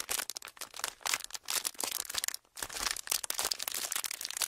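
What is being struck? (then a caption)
Thin plastic wrapper. A small, empty, folded clear plastic wrapper is crinkled and squeezed between the fingertips of both hands. It makes dense, bright crackling with a brief quiet gap around the middle. There is almost no low end.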